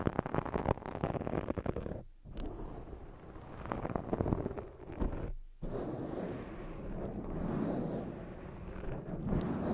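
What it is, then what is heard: Foam microphone windscreen being rubbed and scratched. Hands cup and rub a black foam microphone windscreen while long nails scratch across it. The result is a dense, muffled rumble of scratching and rustling, heavy in the low end, that briefly drops to near silence around two seconds and again around five and a half seconds before resuming.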